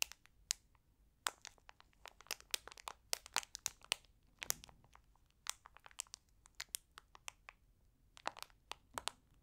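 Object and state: Plastic candy bag crinkling.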